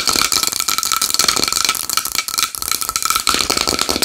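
Long nails tap fast and aggressively on a small wooden bowl. The dense, rapid clicks are bright and crisp, with faint steady ringing tones from the bowl running underneath. The tapping continues without pause throughout.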